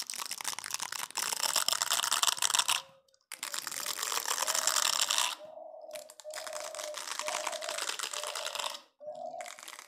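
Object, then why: Plastic scrub brush. Fingernails scratch and rub the plastic bristles of a hand-sized green plastic scrub brush, making dense, bright, crackly scratching. The scratching comes in long bursts broken by brief pauses, with a faint steady tone underneath.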